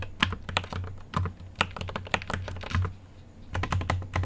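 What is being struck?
Mechanical keyboard with plastic keycaps and aluminium case.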